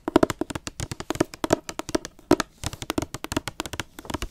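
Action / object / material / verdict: tap / hardcover book with glossy paper jacket / cardboard, paper / none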